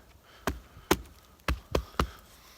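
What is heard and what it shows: Five sharp knocks on a hollow dead tree trunk, each a short woody thud with a brief hollow resonance that dies away almost at once. The knocks come at uneven intervals, and the last three fall close together.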